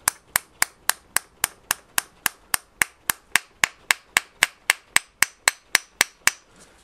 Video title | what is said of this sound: bmw f 650 gs repair strip and clean part 12 | started off hollow now it sounds solid